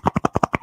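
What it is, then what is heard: Thickened craft paint in a bottle. A bottle of craft paint taken from the garage is shaken, giving seven quick, dull knocking thuds in a steady rhythm with no ringing after each one. The paint inside has dried out and thickened, so it will need a lot of stirring before it can be used.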